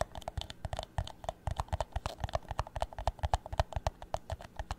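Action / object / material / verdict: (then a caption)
tap / thin clear plastic drinking cup / plastic / none. An empty, hollow clear plastic drinking cup is held tilted and tapped on its bottom and walls with fingertips and nails. About thirty quick, unevenly spaced taps come through as dull, low thuds mixed with light clicks. Each tap dies away almost instantly with no ring.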